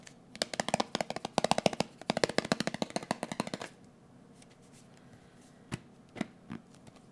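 A closed, round blue metal Nivea cream tin is held in the hand and tapped with fingertips and nails. A quick, uneven flurry of short, dry, bright clicks runs for about three and a half seconds. After a pause come a few scattered single taps, each dying away almost instantly with a faint metallic tone.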